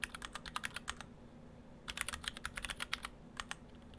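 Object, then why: Mechanical keyboard with plastic keycaps. Fingertips of both hands type on an Orthodox Rev3.1 split ortholinear mechanical keyboard in two halves with clear acrylic cases, white and cyan PBT dye-sub keycaps and stock Gateron Brown switches. About 22 quick, crisp, bright key clacks come in two bursts separated by a short pause, each dying away almost instantly over a faint low hum.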